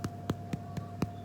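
A freshly baked apricot and ginger biscuit, just out of the oven, is tapped five times, giving soft, low, dull knocks that die away almost at once. The hollow sound in the middle shows the biscuit is cooked through.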